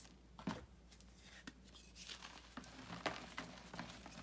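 Bare hands squeeze and crush a solid pressed white gym chalk block (magnesium carbonate) over a large white bucket full of loose chalk powder. Quiet, gritty crunches and dry crackles come in irregular bursts over a faint low hum, while the powder crumbles through the fingers.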